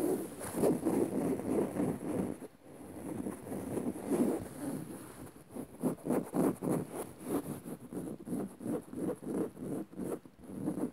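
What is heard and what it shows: Long rounded nails on both hands scratch a dark woven fabric upholstered cushion on a soft padded seat. A dense, dry rustling starts continuous, then breaks into quick, separate scratching strokes of about three per second. The sound is soft and muffled, centered low around 280 Hz, with little brightness.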